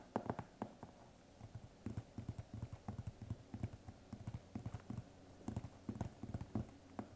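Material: Cardboard.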